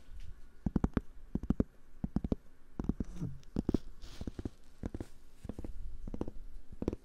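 A cork board is tapped and scratched with fingers. Quick, dry, muffled taps come in short clusters with a low thud around 250 Hz, separated by soft scratchy rustling. Each tap dies away almost instantly with no ring.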